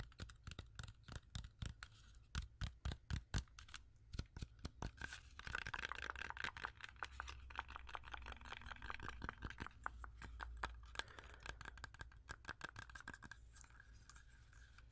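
A whole, solid, fresh red-yellow apple with a sticker is tapped and scratched with long acrylic nails. Quick, sharp clicking taps come in rapid bursts, with a soft scratching texture running between them at a steady close-up level.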